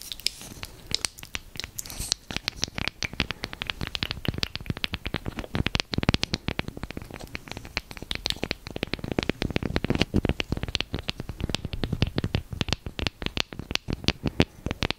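Long nails scratch and tap along the handle and bowl of a small, solid, light wooden spoon held near the mic. The result is a steady stream of rapid, dry clicks and scratchy bursts, each ending almost instantly, with a full low body and bright crackly edges over fifteen seconds.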